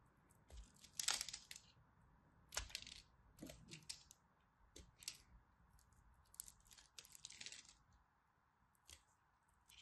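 A craft blade shaves and chips the scored edge of a solid purple-and-white striped dry soap bar. Short, bright, crisp scraping and crackling bursts come in irregular clusters over a faint steady hiss, and each scrape stops quickly with almost no ring.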